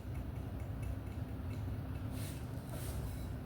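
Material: Nothing is struck.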